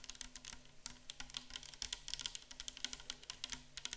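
Long acrylic nails tap rapidly on a tall, clear plastic bottle full of micellar water standing upright. The quick, dry clicks are bright and sharp, cut off almost instantly, and sit over a faint low hum.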